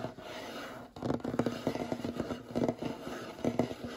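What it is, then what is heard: Solid wooden tabletop. Short fingernails scratch and tap on the surface of a large, solid, light-colored wooden table, close up. A soft, steady scratching fills the first second, then gives way to quick bursts of dry, woody taps mixed with scraping, each tap dying away almost instantly.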